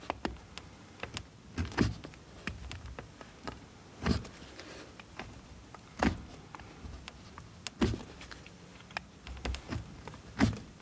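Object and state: Bar of soap being cut.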